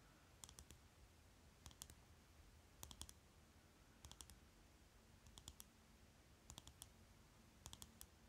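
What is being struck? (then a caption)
Plastic lipstick tube. A small rectangular lipstick tube with a shiny plastic case is held between the fingers while fingernails tap quickly on its cap and body. The taps come as seven short bursts of sharp, dry plastic clicks with almost no ring, spaced about a second apart, over a faint low hum.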